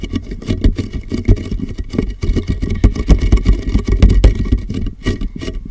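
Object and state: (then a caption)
Empty plastic jug tapped over a microphone. A large, empty, hollow clear plastic (PET) jug is held upside down over a microphone while fingertips and nails tap rapidly and unevenly on its sides. Each tap lands as a short, muffled, boomy thump with a deep hollow resonance and little brightness, colored by the jug covering the mic.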